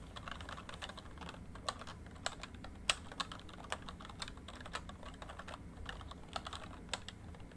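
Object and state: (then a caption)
Plastic membrane keyboard being typed on. Fingertips type steadily on a full-size plastic MSI backlit membrane keyboard. The quick, soft key taps give short, bright clicks that die away almost instantly, with a few sharper strikes standing out over a faint low background rumble.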